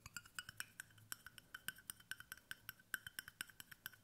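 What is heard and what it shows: Fingertips tap the base and side of a hollow stainless steel water bottle in a quick, quiet run of 29 taps. Each tap is a short, dry metallic tick with a tone around 1.5 kHz and a bright edge, dying away almost at once with little low end.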